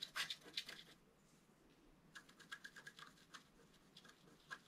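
A wooden stylus scratches the black coating of a flat scratch art card made of black coated paper, held with one hand. Quiet, bright, dry scratching comes in a quick burst of strokes, then a short pause, then a loose, irregular run of short scrapes.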